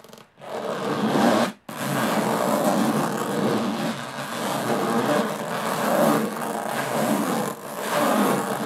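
Long nails scratch slowly across the textured lid of a closed, hollow aluminum carry case, producing a steady, gritty rasping scrape with a hollow metallic body. Two brief pauses break the sound near the start, then the scratching continues in slow, swelling strokes.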